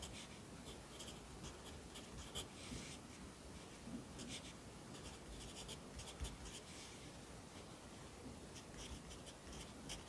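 A yellow wooden pencil held in the fingers writes across an open lined paper notebook lying flat on a desk, its graphite scratching steadily on the page. Soft, continuous scratching is heard, with brief bright strokes rising above a low, quiet background rumble.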